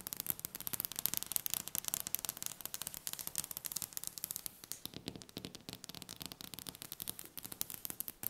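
Long red-painted fingernails tap rapidly and continuously on a large, solid, polished wooden table top. The result is a dense stream of sharp, bright clicks with almost no ring and very little low end.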